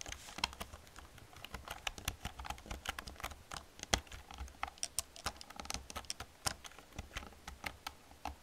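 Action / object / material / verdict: tap / plastic computer keyboard / plastic / none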